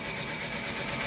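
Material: Nothing is struck.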